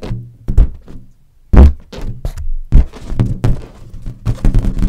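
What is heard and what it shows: A large inflated green latex balloon, hollow and air-filled, is held and tapped with long nails and fingertips. The taps give a run of deep, hollow thunks with a low boom around 70 Hz that fades quickly. Some strikes land harder than others, and faint bright nail clicks sit over the taps.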